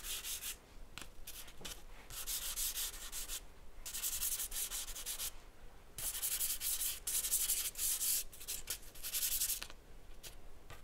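A charcoal stick rubs and scratches across a white paper sheet resting on a board, in continuous strokes. The sound is a dry, bright hiss in bursts of varying length, separated by short quiet gaps.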